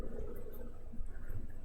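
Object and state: Nothing is struck.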